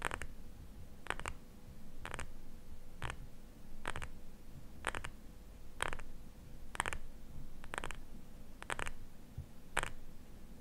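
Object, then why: Small glass cream jar. Fingernails tap and scratch a small glass cream jar, filled with cream and held in both hands. Short, bright, clicky taps come in quick single and double bursts about once a second, with faint scratching and a low, soft rumble between them. A steady faint hum runs underneath throughout.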